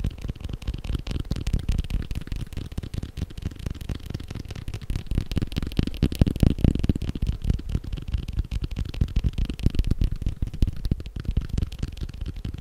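A leather belt is tapped quickly and continuously, making a dense stream of soft, muffled, low thuds. The taps come fast and slightly uneven, with almost no brightness and no ringing after each one.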